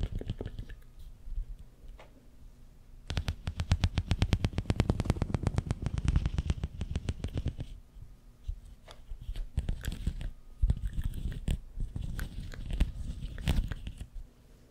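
Fingers scratch and flex the ribs of a long, hollow, empty pink corrugated plastic tube held horizontally in both hands. Soft scratching gives way to a fast, dense run of ticking clicks over the ribs. Quieter rubbing follows, with scattered sharper clicks, all with a deep, low-heavy tone.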